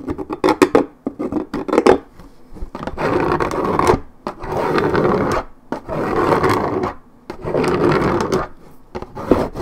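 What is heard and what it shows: Long nails scratch deeply at a worn spot on a 1.75 L Minute Maid paperboard orange juice carton. The coated cardboard gives a dry, rasping scrape, opening with a run of quick separate scratches. These give way to longer sustained strokes that swell and pause in a loose rhythm.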